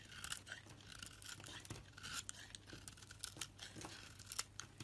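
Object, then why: Soap bar. A blade shaves thin curls and chips off a solid rectangular bar of purple-coated pink soap held in the hand. The sound is a quiet, continuous run of crisp, bright scraping and crackling with frequent short peaks. The shaving leaves the pink inner piece showing at the end.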